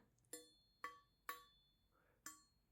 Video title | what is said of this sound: 双立人菜刀测评：贵有贵的道理？教你选出高性价比好刀！ | so the sound of a knife made in one piece will have an echo.